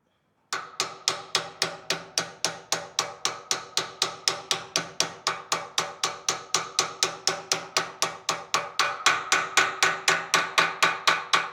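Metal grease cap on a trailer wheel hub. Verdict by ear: Seated.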